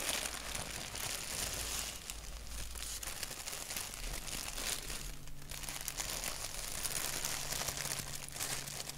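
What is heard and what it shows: Fingertips scratch and crinkle a thin white paper napkin with a black doodle print, held flat. The result is a continuous, dense, crisp crackling rustle, bright and hissy in the upper range, with a faint low hum underneath and no distinct separate hits.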